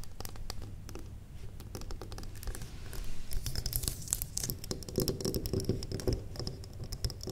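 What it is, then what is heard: Wax pillar candle. Long nails tap rapidly on a large square solid wax pillar candle with its top wick visible, and the candle is briefly tilted and handled. The result is a dense patter of short, dry clicks and light scratches with a soft low thud beneath. The taps grow louder and brighter after about three seconds.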